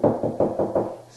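Knocks on a drywall wall across the inch-and-a-half width of a wood stud behind it. Five short, dull raps with a mid-range thump and a quick fade, sounding solid over the stud.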